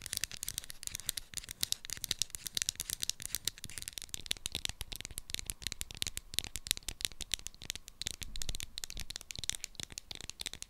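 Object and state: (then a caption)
Plastic roll-on deodorant bottle. Long acrylic nails rapidly tap and scratch a small, hollow Sanex roll-on deodorant bottle with a clear plastic body and a pink textured plastic cap. The result is a dense stream of short, dry, bright clicks and scratchy rasps, with each tap dying away almost instantly.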